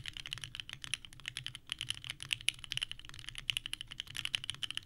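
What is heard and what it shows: Both hands type continuously with the fingertips on a small 65% mechanical keyboard with a purple case and white ABS keycaps resting on a desk mat. The result is a rapid stream of bright, clacky key presses with a sharp peak near 2.9 kHz, each click dying away almost instantly over very little low end.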